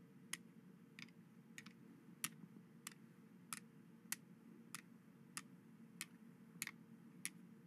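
White plastic skeleton hand grabber toys are worked by hand, snapping their finger bones together over a dark cloth. About a dozen sharp, bright clicks come at a loose, uneven pace and die away almost instantly. A steady low hum sits underneath throughout.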